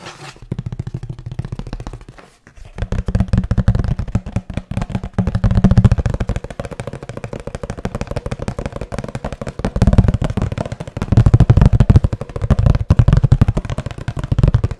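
Fingertips tap rapidly and lightly scratch on a hollow kraft cardboard box with a blue band. The result is a dense stream of short, dry, low hollow thumps with almost no ring. There is a brief pause near the 2-second mark, and the tapping swells louder in bursts later on.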